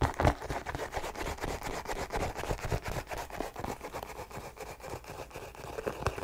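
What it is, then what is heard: Leather sneaker scratched and tapped. Long nails scratch and tap across an empty white leather sneaker, working over the upper, the laces and the sole. A dense run of quick, dry scratches and soft taps keeps a steady, fairly quiet level, with most of the energy low and little brightness.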